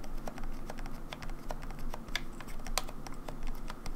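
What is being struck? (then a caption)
Plastic game controller shell. Long nails tap and scratch the rear shell and grips of a grey, hollow plastic Nintendo 64 controller turned over onto its back. The result is a quick, steady patter of light, dry clicks with a hollow plastic tone centered around 750 Hz. The clicks stop almost instantly and sit over a constant low rumble.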